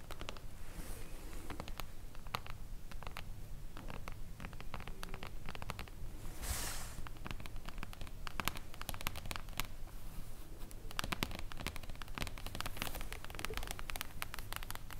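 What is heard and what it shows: Long blue and glitter acrylic nails tap quickly and irregularly on the silver mirror-foil cover of a hardcover book, making dense, crisp clicks mixed with light scratching over a soft low thud. The taps sound solid, with a brief bright rustling swell midway through.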